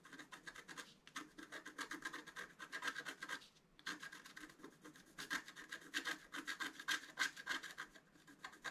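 A thin wooden stylus scratches the black coating of a flat, thin, solid scratch-art card about A4 in size, working dense short strokes around the flowers and antlers of the design. The strokes make quick, dry scraping and rasping bursts with a bright, papery hiss, broken by brief pauses near the first and fourth seconds.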